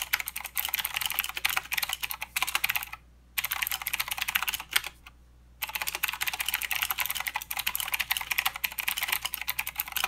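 Both hands type with their fingertips on a full-size mechanical keyboard with plastic keycaps and blue clicky switches. A rapid, continuous stream of sharp, bright clicks is heard, with two brief pauses near the three- and five-second marks. Each click is short, dry and high-pitched, with almost no low end.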